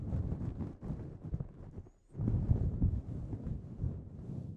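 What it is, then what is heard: Faux fur microphone windscreen being scratched. Both hands grip a soft, fluffy grey synthetic fur windscreen covering a microphone over a hollow foam body, scratching and rubbing it with fingertips and short nails. The result is a close, deep, muffled rumbling and crackling scrape, almost entirely low in pitch, with a brief pause near the two-second mark before the rubbing resumes louder.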